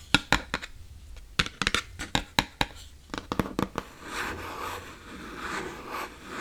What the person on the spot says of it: 16:28-18:29 Hollow Box Tapping and Scratching